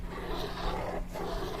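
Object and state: Nothing is struck.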